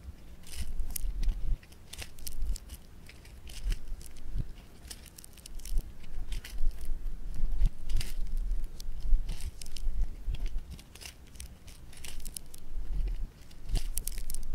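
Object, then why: Polystyrene-bead foam clay. A small ball of orange polystyrene-bead floam is pressed, pinched and pulled apart by fingertips. Dense, dry crackling and crunching comes in uneven bursts, with bright high snaps over a low rumble. The crackles swell and fade without stopping across the clip.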